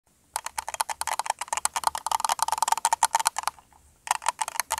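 A small, hollow, apparently empty red plastic cup or container is held in both hands and tapped and scratched with the fingertips and short nails. Rapid, dense, bright clicky taps carry a hollow tone around 900 Hz. They pause briefly near the end, then resume.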